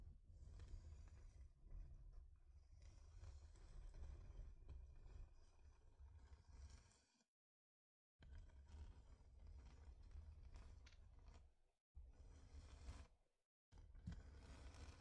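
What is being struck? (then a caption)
Thin flat wooden heart-shaped board. Long nails scratch across a thin, flat, solid wooden heart-shaped plaque. The result is a dense, rumbling scrape concentrated in the low end, with a faint brighter hiss on top. It runs steadily, broken by a full silence of about a second near the middle and two shorter dropouts toward the end.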